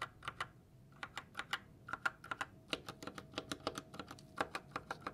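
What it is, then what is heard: Plastic mechanical keyboard. Gloved fingertips press single keys on a white GK61 60% mechanical keyboard with silver switches and plastic keycaps, then type with both hands. The result is a quick, uneven run of sharp, short plastic clacks with a bright tone around 1.4 kHz over a quiet background.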